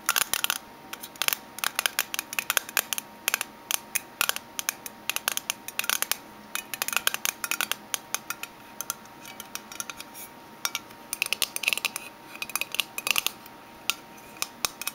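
Fingernails tap a small, closed oval aluminium Minteas mint tin, first upside down and then on its side. Dozens of quick, sharp, bright metallic clicks come in irregular bursts for about 15 seconds, each dying away almost instantly, with no low end beneath them.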